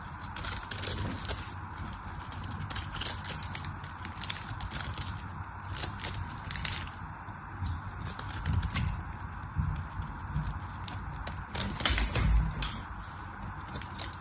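A solid pink bar of soap with a crosshatch surface, held in the fingers, is scraped and shaved with a small black knife blade. The result is a steady run of dry, crackly scraping and crunching strokes at an uneven pace, with brief bright crackles over a low rumble.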